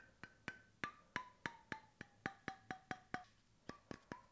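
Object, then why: Bamboo cap on a stainless steel bottle. Fingertips and nails tap the flat bamboo cap of a stainless steel bottle, giving 16 short, dry, woody knocks with very little ring. Each knock carries a faint pitched tone that slides from about 1.5 kHz down to around 700 Hz, then jumps back up near the end.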